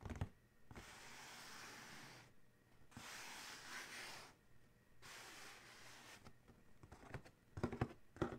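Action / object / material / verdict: scrape / cardboard shoe box / cardboard / none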